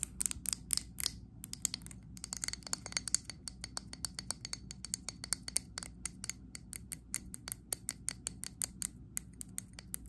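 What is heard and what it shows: Long acrylic nails rapidly tap and scratch the glass sides and label of a medium WoodWick glass candle jar filled with green wax. The result is a dense stream of sharp, bright clicks with brief scraping between them, each tap dying out almost instantly over a low, steady background hum.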